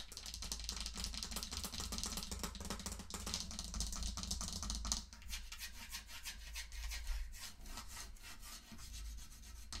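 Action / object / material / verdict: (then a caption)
scrape / small hollow wooden mantel clock / wood / none. Long nails quickly scratch and rub the painted wooden sides and back of a small, hollow wooden mantel clock standing on a pink pouch. The result is a dense, dry, bright rasping texture over a steady low hum. At about five seconds it drops slightly quieter and continues in rapid strokes.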